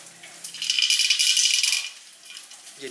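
A rear bicycle wheel with metal spokes is moved, and a loose spoke piece inside the rim makes a bright, high, jangling rattle centred around 3 kHz. The rattle swells after about half a second, stays loud for about a second, then fades to a faint clatter. This rattle points to a fault in the wheel.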